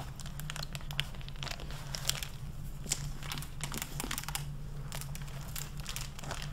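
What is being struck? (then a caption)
Hardcover book with plastic jacket and paper pages. Fingertips with long painted nails turn and flip the paper pages of an open library hardcover book on a wooden desk and crinkle its clear plastic (mylar) protective jacket. Dense, bright crinkling and crackling with sharp papery flicks runs over a steady low hum.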